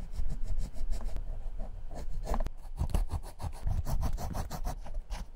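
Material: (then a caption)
Rubber. The worn rubber outsole of an old Clarks leather shoe, held in the hand, is scratched along its tread segments with a metal scribe-like tip. A rapid series of short, dry rasping scrapes is heard, with a low rumble underneath and bright, brief scratchy edges.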